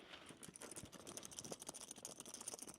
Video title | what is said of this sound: Bomb Threats…..STOP Going To These Events | It sounds metallic. It's metal.